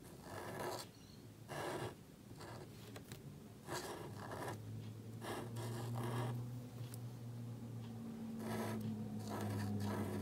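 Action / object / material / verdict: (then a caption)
scrape / thin black cardstock card / paper card / none. A calligraphy marker nib scratches across a small, thin black cardstock card resting on a table while writing. Short, bright, scratchy strokes come in irregular bursts over a steady low hum.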